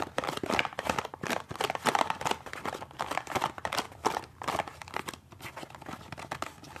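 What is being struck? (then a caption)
Small cardboard toothpaste box. A small, hollow cardboard toothpaste box is gripped, scratched and tapped on its side and end with the fingernails while being moved around. Dense, dry crinkling scratches and quick papery taps run close together in a continuous texture. A light midrange hollowness sits under the brighter edges.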